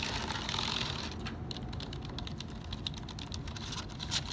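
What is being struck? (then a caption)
Plastic computer keyboard. Fingertips tap and scratch across the hollow plastic key caps of a black HP plastic computer keyboard lying on a wooden desk, pressing the keys. A dense, bright scratching hiss comes first, then gives way to a quick run of light, clicky taps over a steady low rumble.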